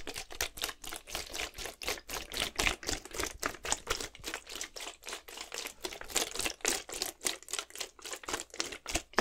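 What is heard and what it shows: A clear plastic Gatorade bottle, partly filled with blue liquid, is shaken side to side in one hand. The result is a rapid, steady stream of bright sloshing and splashing bursts with crinkly plastic clicks. About four bursts per second fall in an uneven rhythm, and each one dies away quickly.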